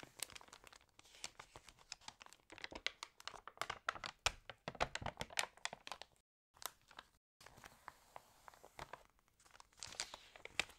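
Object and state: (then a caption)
Glossy paper catalog pages. Fingernails scratch across the glossy pages of a water-damaged fashion catalog, then a page is lifted and turned. The result is a dense run of crisp, bright crinkles and scratchy ticks with almost no low end, broken by two brief silent gaps in the middle.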